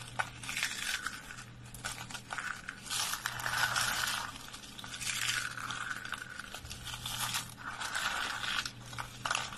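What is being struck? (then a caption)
Soap curls. Dry purple lavender soap curls are crushed in a fist and pressed with fingertips, giving dense, bright crunching and crackling in repeated swelling bursts. A faint steady low hum sits underneath throughout.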